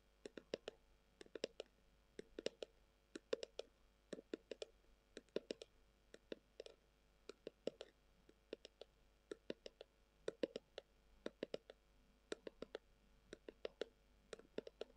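Long acrylic nails tap and scratch the surface of a hollow, brown, textured leather-covered tubular glasses case. The result is a steady stream of quick, dry, clicky taps in irregular bursts, each with a hollow mid-range body and a bright edge that dies away almost at once. It plays quietly over a faint, steady background hiss.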